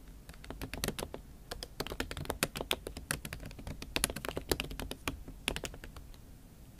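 Fingertips and long acrylic nails type on a MacBook Pro keyboard covered with a pink silicone skin. A steady stream of quick, dry taps and clicks, some sharper and brighter where the nails strike, each dying away almost instantly over a low background rumble.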